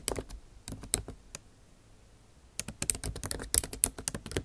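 Tips of long acrylic nails type on the bare plastic keys of a backlit MacBook Pro keyboard set in an aluminum body, making quick, dry, bright clicking taps with almost no ring. A short burst of taps comes first, then a pause of about a second, then a denser, faster run of taps that continues to the end.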